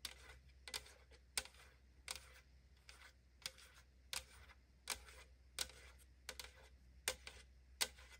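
Long nails tap lightly on the side of a tall AriZona aluminum drink can held in the hand. Fifteen quiet, bright, clicky taps come at an uneven pace, each dying away almost at once, over a steady low hum.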